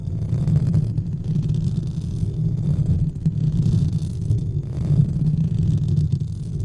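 Fingertips of both hands rub and scratch a white textured foam or fabric windscreen covering a large studio microphone. The result is a steady, deep, muffled rumble centered low around 110 Hz, with faint bright scratchy crackles rising and fading in waves throughout.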